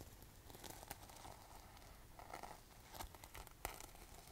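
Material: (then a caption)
Sequins. Long nails scratch and brush across a gold sequin fabric pouch held close, flipping the sequins. The result is a quiet, crinkly rustle broken by sharp, bright clicks and scrapes.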